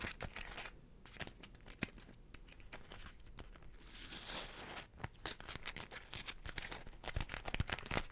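A small, folded, floral beeswax wrap made of stiff wax-coated cotton is tapped and scratched with long nails and crinkled by hand. Irregular sharp ticks and taps mix with dry, bright crackling and scratchy rustling, with a denser hiss of scratching around the middle. The sounds are quiet and short, with no ring after each contact.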